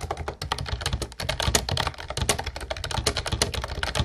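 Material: Plastic.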